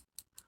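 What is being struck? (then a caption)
Liquid eyeliner pen with small mixing ball inside. A liquid eyeliner pen with a small mixing ball inside is shaken to get product back onto the brush. Two short, bright, high-pitched clicks ring out as the ball rattles against the inside of the pen. The rattle is the normal sound of the mixing ball.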